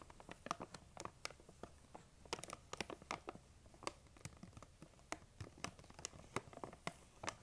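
Long nail tips tap and scratch the sides of a large, printed plastic M&M's candy bag that appears full. The result is a quick, irregular run of sharp, crinkly clicks with bright, dry tops and almost no ring. Soft scratching rustle fills the gaps between them.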